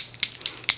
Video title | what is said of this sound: Rare Beauty Foundation: Wear Test + Review - Oily Skin | when you shake it it has a little ball in there